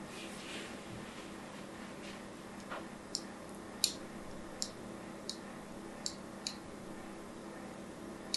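A solid pink bar of soap, held in a hand with long nails, is scored again and again with a thin metal tool. Seven short, bright scratching ticks stand out, with a few fainter scrapes in between, over a quiet, steady hiss.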